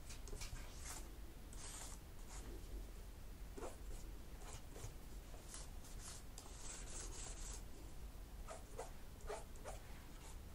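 A cotton swab is scraped along the gaps between the black plastic keys of a laptop keyboard. It makes quiet, scratchy rubbing strokes with bright, hissy bursts, over a steady low hum.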